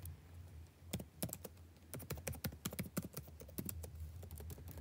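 Fingertips type on a backlit laptop keyboard with plastic chiclet keys, tapping at a slightly slower pace on the same keyboard throughout. Short, dry clicks and taps come in uneven bursts over a steady low hum.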